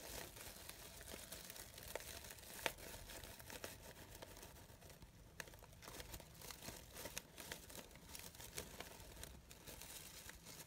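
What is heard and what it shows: Long nails pick at and rub the petals of a brown-gold sheer organza fabric rose, making a steady, quiet, bright crinkling and rustling. Small sharp ticks and crackles stand out from the soft hiss throughout.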